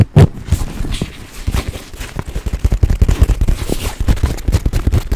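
Fingertips and nails tap and scratch the surface and fittings of a small, hollow olive-green nylon crossbody bag held in both hands in front of a microphone. The result is a rapid, uneven run of short, dull, low thumps with quick decay, mixed with faint fabric scratching.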